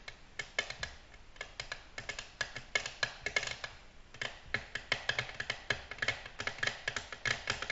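Long natural nails tap on a flat, solid, glossy black glass tabletop in quick, uneven runs of light clicks. Each tap is short and bright, with a glassy tone around 2.2 kHz and almost no low end, dying away almost instantly.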